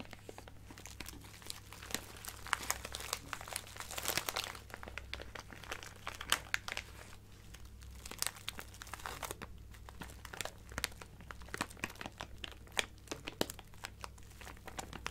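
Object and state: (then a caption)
Plastic bag of acrylic gems. A small clear plastic bag full of colorful acrylic craft gems is held up and crinkled and rubbed with fingertips and nails. It makes a continuous, bright crinkling dotted with sharp little clicks and crunches from the gems shifting inside. A faint low hum runs steadily underneath.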